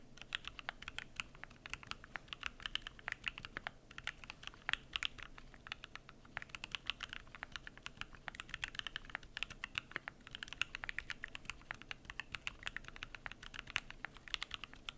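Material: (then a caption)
Plastic, aluminum. Fingertips type continuously on the PBT plastic keycaps of a Keychron Q1 aluminum mechanical keyboard. The result is a steady, fast stream of short, crisp clacks that stop almost instantly. The clacks are bright, centered around 2.7 kHz, with little low-end thump and a fairly quiet overall level.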